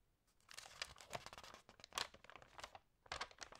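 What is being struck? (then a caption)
Glossy paper magazine. Long nails and fingertips rub, crinkle and turn the pages of an Allerhande glossy food magazine lying flat. Quiet, bright bursts of crisp paper crinkling and rustling come and go unevenly, with brief sharper crackles as the pages move.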